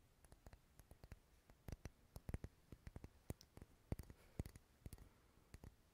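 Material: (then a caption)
Wax. Fingernails tap and scratch on a solid purple wax pillar candle held sideways. Quiet, dry clicks fall in a quick, uneven series over a soft, low scratchy rustle, and each tap stops almost instantly with no ring.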